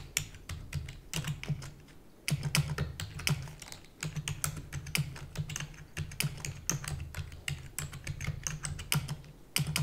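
Rapid typing on a full-size black plastic keyboard with hollow keys, tapped with long natural nails and fingertips. A dense stream of short, bright clicks rises over a steady low hum, with each tap dying away almost instantly.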